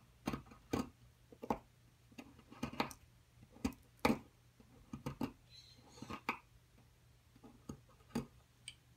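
A metal pick digs into and scrapes a solid white plaster excavation block near a buried object. About seventeen short, dry ticks and taps sound with brief gritty scrapes between them, each dying away almost at once at a quiet level.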